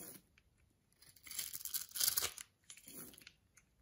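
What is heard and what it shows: A metal blade shaves and scrapes the surface of a solid, palm-sized white bar of soap held in the palm, making soft, bright, crisp scratching and tearing sounds in uneven bursts. The strokes swell louder near the middle and fade, leaving fine white soap curls and powder.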